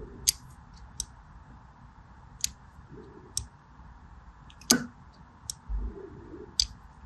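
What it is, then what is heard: Bar soap being scored with a blade. A small black-handled blade scores diagonal lines into the surface of a solid purple-and-white striped bar of soap held in one hand. Seven short, crisp, bright clicks ring out at uneven intervals over a low, steady hiss, with a couple of softer scraping passes between them.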